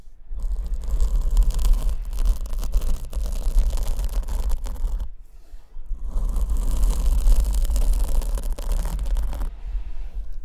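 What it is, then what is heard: Foam microphone windscreen scratched. Long nails scratch the surface of a large black open-cell foam windscreen on the left condenser microphone, held in one hand. Two long bursts of dense, rough scratching with a heavy low rumble are separated by a brief quiet gap near the middle, and the sound thins out toward the end.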